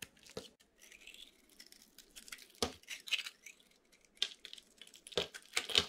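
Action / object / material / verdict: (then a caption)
scrape / bar of soap cut with a blade / soap / none. A utility knife blade cuts brittle shavings off a solid white dry bar soap with a pink, silver and gold glitter coating, held in the hand. Dry, crunchy scraping and crackling is heard, mostly bright and high, with several sharper snapping cuts standing out near the end.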